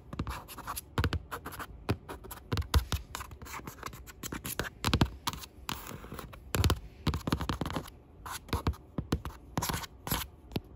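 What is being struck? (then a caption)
Aluminum laptop lid tapped with acrylic nails. Long pink acrylic nails tap and scratch across the top of a closed grey aluminum laptop lid, a flat hollow device lying on a wooden desk. The result is quick, irregular clusters of sharp clicks with a dull, hollow low thump under each, dying away almost instantly, with faint scratchy brightness between taps.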